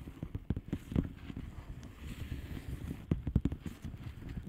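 Long fingernails of both hands tap and scratch a flat blue plastic bubble wrap padded envelope with air-filled bubbles. The result is a quiet series of dull, low, muffled taps with very short decay, broken up by soft scratchy rustling, with a cluster of louder taps near the end.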